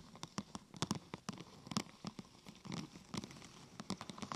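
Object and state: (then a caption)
Plastic sheet tapped with nails. Long nails tap a thin, glossy purple plastic sheet curved into a hollow half-tube, striking it from the side and the top. The taps come quickly and irregularly, as soft, dry clicks with a hollow low thump near 200 Hz and a bright edge. Each one dies away almost instantly.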